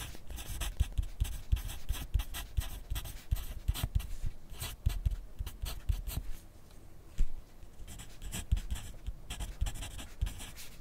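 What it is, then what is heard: Pencil writing on paper. A yellow wooden graphite pencil held in the fingers writes continuously on a thin lined paper sheet clipped to a flat clipboard on a desk. Its tip makes quick, dry scratching strokes with soft low thumps against the board, with one sharper, louder stroke about two-thirds of the way through.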